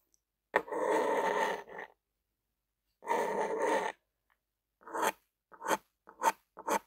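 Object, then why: Ballpoint pen on paper. A lime-green plastic ballpoint pen with a black rubber grip and metal tip is dragged and scribbled across a white paper sheet lying flat on a table, with the other hand resting nearby. Two long, steady scratching drags are followed by seven short, quick scribbling strokes. The result is a dry, papery scratch with a bright edge.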